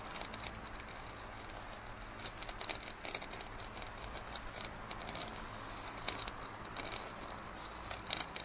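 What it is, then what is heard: Plastic drinking cup. Fingernails scratch and tap the side of a large, hollow printed plastic drinking cup near its base while the cup is held tilted. The result is a quiet, steady stream of bright, crinkly scratching with sharp little clicks scattered throughout, over a faint low hum.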